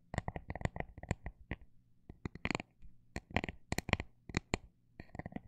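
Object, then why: Textured plastic item. Fingernails tap on a textured plastic item, alternating quick bursts with slower taps. Each tap is a short, dry, bright click that dies away almost instantly, with brief pauses between the bursts. A faint low steady hum sits underneath.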